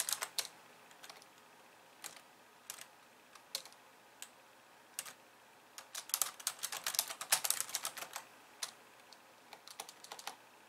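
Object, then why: Plastic computer keyboard. Both hands with long painted nails type and tap on a hollow, pink-framed plastic computer keyboard with white keys resting on a wooden desk. Short, bright plastic clicks come in an irregular rhythm, scattered at first and then crowding into a dense flurry in the second half. Each click dies away almost instantly, with no low-end thump.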